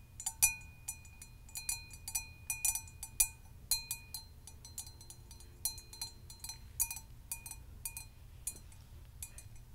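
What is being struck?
Hammered copper mug.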